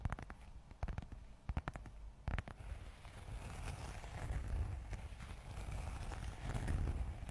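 Long acrylic nails tap and scratch a closed red textured leather zip wallet held close to the microphone, working along its face and zipper edge. Sharp, dry clicking taps come first, then give way to a steady, crackly scratching rustle with a soft, low-heavy tone.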